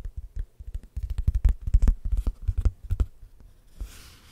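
Fingertips rub and scratch a small, flat cardboard product box with a kraft-brown edge and a black printed front, possibly hollow, held in one hand close to the microphone. The result is a rapid, irregular run of deep, muffled thumps and scrapes with almost no ring, peaking in the middle and fading to a soft hiss at the end.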